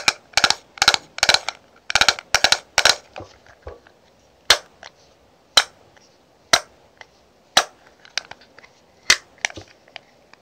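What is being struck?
Clear plastic makeup compact.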